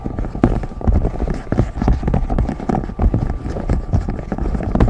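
Fingertips and short nails tap and scratch over the hollow raised bubbles of a large rainbow silicone pop-it fidget toy, close up. The sound is a rapid, continuous run of dull, low, muffled taps mixed with soft scratching, with almost no bright high end.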